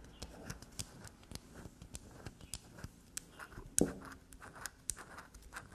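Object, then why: Bar of black soap. A small solid black soap bar is held upright on a table while long nails scratch, tap and scrape grooves into its face. Quick, dry scratching and tapping repeat in short bursts with bright, crisp edges. One sharper, louder scrape stands out near the end.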